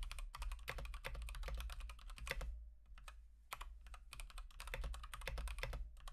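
Fingertips type rapid, repeated key presses on a full-size Akko 3108 v2 Monet's Pond mechanical keyboard with Gateron Pink switches and teal and white plastic keycaps, resting on a desk mat; the board is solid but has a hollow case. Short, sharp clacks with a bright edge fall in quick bursts, with a brief lull in the middle, over a steady low hum.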